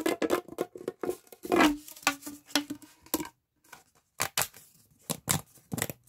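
A hollow pink corrugated plastic pop tube, bent into a loop, is squeezed by both hands and fingertips so its ridges pop. The result is a quick series of about 16 sharp, crackling snaps with a bright edge, plus a brief low squeaky tone in the middle. After a short pause, a few more pops follow.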